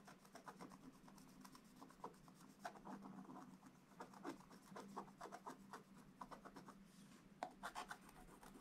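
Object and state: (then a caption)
Scratch-art paper being scratched. A thin wooden stylus held in the fingers scratches across a flat, black, wax-coated scratch-art paper page in a book lying on a table, scraping off the black layer to reveal colours. Continuous quiet, dry rasping strokes come in short bursts of varying strength, with sharper scrapes standing out over a faint steady low hum.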